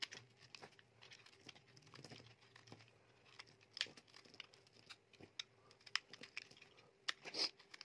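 A utility knife blade scrapes and shaves the outer layer off a solid, dry, blue-coated soap bar with a white core, held in the hand. The quiet, bright scraping carries crisp, crumbly crackles and sharp little clicks as the coating flakes away.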